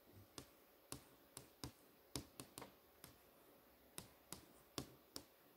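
Long manicured nails tap and trace across a large, thin, flat TV screen showing a movie page. Twelve sharp, dry clicks with bright tops land at an uneven pace and die away almost instantly. A faint steady hiss sits between them.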